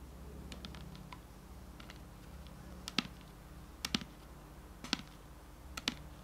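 A medium clear plastic Garnier micellar water bottle with a pink cap, hollow and partly filled with liquid, is held in hand and tapped on its sides with fingertips and nails. Soft, faint taps give way to a few sharper, crisp clicks with a very short ring. A steady low hum runs underneath throughout.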